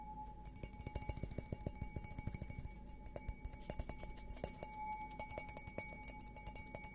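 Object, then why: Stemmed glass goblet. Fingernails tap quickly across the bowl of an empty, hollow stemmed glass beer goblet held upside down, making a rapid run of light clicks. Under the clicks the glass rings with a steady tone near 850 Hz, a fainter one around 2.3 kHz, and a thin high overtone, over a low background hum.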